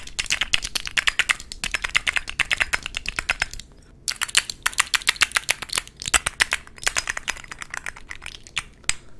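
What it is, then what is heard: Glass perfume bottle tapped with fingernails. Fingernails tap rapidly on the faces of a rectangular, dark blue, thick-glass perfume bottle with a gold emblem and a gold metal cap, filled with liquid. The result is dense bursts of sharp, bright, clicky taps that die away almost instantly, with little low end. A brief pause falls near the middle before the tapping resumes.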